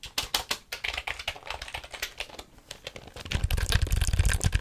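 Fingers type and tap on a black plastic computer keyboard held vertically close to the mic, producing short, dry, irregular clacks. Distinct, spaced taps give way to a softer stretch, then a denser, louder flurry of keystrokes with a heavier low thump.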